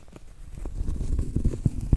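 Medium-length acrylic nails tap and scratch on a round, flat, solid cork trivet held upright. The result is soft, dull, low thuds mixed with faint scraping, each tap dying away almost instantly. The taps grow slightly louder toward the end.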